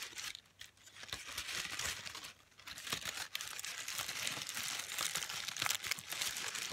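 A bunched sheet of thin pink tissue paper is crumpled and crinkled by fingers with long pastel-painted nails. It makes a dense, irregular, bright crackling, mostly high-pitched and hissy, with brief quieter pauses before it continues steadily.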